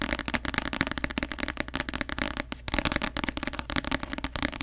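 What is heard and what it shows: Long acrylic nails tap fast on the glossy paper front cover of a paperback novel, *The Cruel Prince*, held upright in both hands in front of the mic. The solid paper block gives a rapid, unbroken stream of short, dry, crackly clicks with a bright edge and almost no ring.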